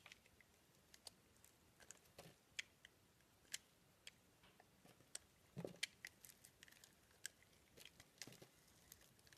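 A solid round green bar soap with a pink rose inlay is held in the hand and carved and shaved with a blade. Quiet cutting and scraping make a quick series of short, crisp, bright clicks and crunches over a soft hiss, with each snap dying away almost at once.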